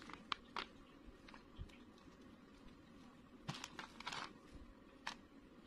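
A knife blade cuts and scrapes a solid white bar of soap held in the fingers, shaving off crumbly pieces. Several short, crisp, bright crunches and clicks stand out, some grouped in quick bursts, over a faint steady hiss. Each scrape stops abruptly with no ring.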